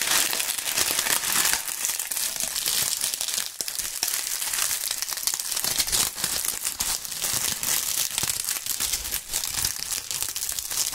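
Dry brown and tan autumn leaves are squeezed and crumpled between gloved hands right at the microphones. It makes a dense, continuous crunching and crinkling, bright and crackly with almost no low end, and the crackle stays steady throughout.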